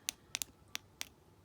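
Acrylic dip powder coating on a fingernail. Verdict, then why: Set. An acrylic dip-powder nail coating is tapped five times after its activator has set. The taps are short, dry, high-pitched clicks with almost no ring and a sharper, higher tone than an unset nail. The sharper tone shows the activator has set, and the nail is judged good.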